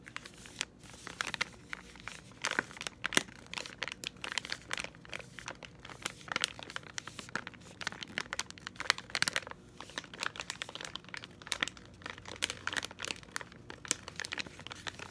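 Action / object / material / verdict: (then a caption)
scrape / soft plastic packet of wipes / plastic / none. A hand-sized, apparently full soft plastic packet of cleansing wipes is squeezed and crinkled with green-stained fingertips. The result is a continuous, bright plastic crinkling, dotted with sharp crackles and short tearing-like rustles, with almost no low end.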